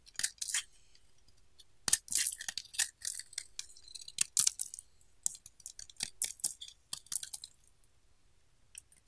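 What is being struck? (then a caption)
Bar of soap shaved with a blade. The edge of a solid pink oval bar of soap, held in the hand, is shaved with a utility knife blade. It makes a quick series of short, crumbly, bright scraping crunches with brief pauses between strokes. The sound is mostly high-pitched with almost no low end.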